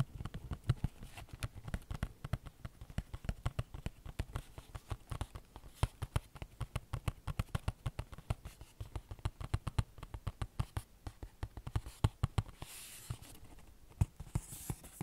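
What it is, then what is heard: Cardboard tea box. Fingernails tap and scratch a small, hollow, rectangular yellow printed Lord Nelson cardboard tea box, probably full of tea bags, held close to the mic. A rapid, steady stream of soft, dull taps with a low, thumpy body and very short decay fills the clip. Near the end, a brief brighter scratching hiss breaks in between the taps.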